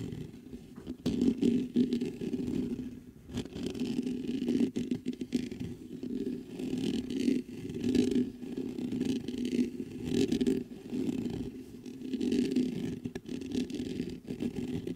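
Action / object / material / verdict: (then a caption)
scrape / metal condenser microphone with mesh grille / metal mesh / none. Fingertips scrape and scratch the mesh grille of a black metal USB condenser microphone. The result is a dense, close, muffled rasping concentrated in the low-mids, coming in uneven swelling bursts with brief lighter pauses throughout.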